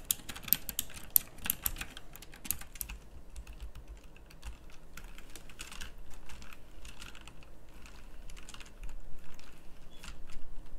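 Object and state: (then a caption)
Plastic mechanical keyboard being typed on. Fingertips with long nails type on a pink backlit plastic mechanical typewriter-style keyboard with round plastic keycaps. Fast, irregular, bright clicks and clacks come in dense bursts, heaviest in the first few seconds, then continue more sparsely over a low, steady rumble. Each keystroke is sharp and short, with almost no ring.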